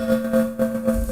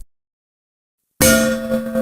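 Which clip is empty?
The second.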